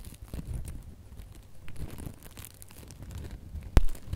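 A small gold and red glitter ribbon bow has its loops scratched and squeezed by long nails, giving soft, dry crinkling and rustling with faint low thumps. Near the end comes one sharper, louder crackle before the rustling settles.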